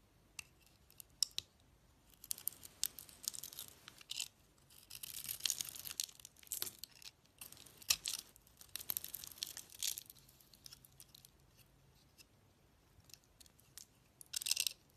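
A utility knife blade scrapes the pink glitter coating off a solid bar soap with a cream core, held in the hand. Bursts of dry, bright scratching and crisp crackling come in clusters with quiet pauses between them. The sound is almost entirely high-pitched, with little low end.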